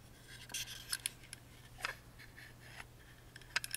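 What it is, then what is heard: Wooden music box being scratched. Fingertips and nails rub and scratch the surfaces of a tiny hollow carved wooden music box, first the bottom panel with its screws and then the carved lid. Quiet, dry, bright scratches and short clicky rasps come in scattered bursts with almost no ring, over a faint steady low hum.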